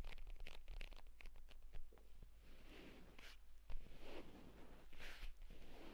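Short nails on both hands rapidly scratch and tap the cover of a purple pebbled leather folio tablet case lying flat on a bed with its stitched spine visible. The result is a quiet run of brisk, dry taps and rasping scratches, each sharp and over quickly, over a steady low hum.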